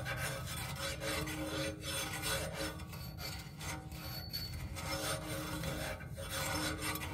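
Fingernails scratch and rub along the matte black tripod base leg of a black music stand. The result is a continuous raspy, scraping texture with steady low rumble and bright, gritty highs. A faint tonal ring sits underneath, with brief dips in loudness as the strokes change.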